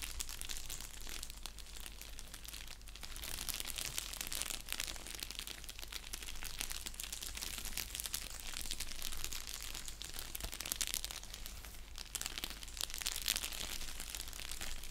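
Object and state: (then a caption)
Padded bubble mailer. Fingertips and nails scratch and crinkle the surface of an orange padded bubble mailer envelope lying flat on a blanket. Dense, bright crinkling and scratching continues steadily for about fifteen seconds over a constant low hum, swelling slightly louder in the second half.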